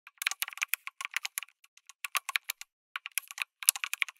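Fingertips type continuously on a backlit mechanical keyboard with plastic keycaps, an FR4 plate and tactile switches. Quick, bright, clacky keystrokes come in bursts with brief pauses. Each click is crisp and dry, with no low-end thump and almost no ring.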